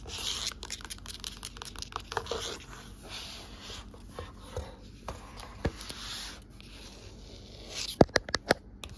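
Long nails scratch and tap on a closed blue cloth-covered hardcover book with gold lettering on the spine, moving over the cover and spine. A steady, bright scratching rasp runs throughout, broken by scattered soft taps. Near the end it gives way to a quick cluster of sharper, louder taps.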